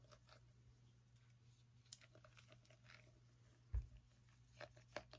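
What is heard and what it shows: Long nails tap a small orange pumpkin, making soft, quiet clicks and faint scratchy ticks over a steady low hum. One tap near the middle stands out as a louder thud, and the rest fade quickly.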